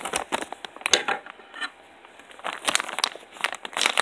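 A palm-sized white plastic polymailer shipping bag holding weight-lifting gym gloves is squeezed by bare fingertips while a pen is briefly held in one hand. The thin plastic gives off bright, crackly crinkling in quick bursts, with a quieter pause in the middle before the crinkling picks up again.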